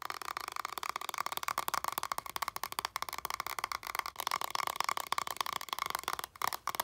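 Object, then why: Coated paper card deck. A stack of coated paper tarot cards with a plaid back, held in one hand, is tapped and scratched on its back with long nails. Quick, dry clicking taps overlap with a crisp scratching texture, bright and papery around 1 kHz with no low end. The taps fade almost instantly.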